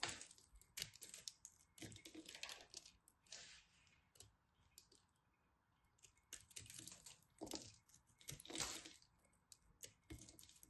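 A solid ball of pressed soap flakes is carved with a knife blade, chips flying off as it crumbles. Bursts of dry, crackly scraping and crisp clicks with bright high end come and go, separated by quiet pauses.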